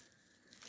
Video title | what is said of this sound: Bu yöntemi neden daha önce bilmiyordum! İnanılmaz derecede basit, hızlı ve lezzetli 🤚Kolay Börek | می‌توانید صدای ترد شدن آن را بشنوید